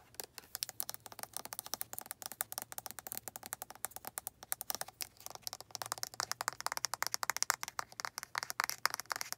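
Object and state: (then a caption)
Plastic lotion bottle. Long red nails tap and scratch the white flip cap and body of a hand-sized, hollow white plastic lotion bottle that is probably full. A rapid, continuous run of dry, bright clicks and scratchy rustles carries on throughout, with each tap dying away almost at once.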